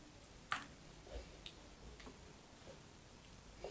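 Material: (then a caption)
Soap. A thin slab of pale pink bar soap, held between fingers with long yellow nails, is cut and snapped into flakes over a pile of soap shavings. A sharp, bright crack is followed by softer crisp ticks and crumbly crunches against a quiet background.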